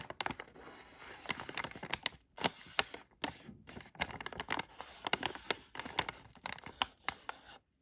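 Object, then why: Filled plastic foil candy bag. A thin black tool tip traces and scratches the lettering on a filled, palm-sized yellow Halls cough drop bag made of thin plastic foil, held in one hand. It produces a run of dry, bright crinkling scratches and sharp ticks with almost no low end. Each ticks off instantly, separated by a few brief silent gaps.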